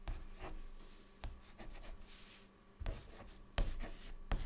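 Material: Chalk.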